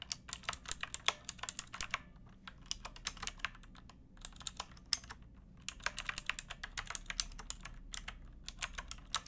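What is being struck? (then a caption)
Plastic mechanical keyboard. Fingertips with long painted nails type on a pink backlit plastic mechanical keyboard with round typewriter-style keycaps and a hollow case. Quick bursts of sharp, bright clacks come in runs, with short pauses near the 2-, 4- and 5.5-second marks. Each click dies away almost instantly over a faint low hum.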